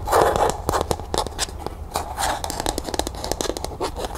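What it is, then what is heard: Plastic cup tapped and scratched. Long nails rapidly tap and scratch the sides and base of a small, hollow, matte pink plastic cup, first resting upside down on a table and then held. The result is a quick run of bright, clicky taps with a hollow mid-pitched tone around 535 Hz, mixed with scratchy scraping over a faint low hum.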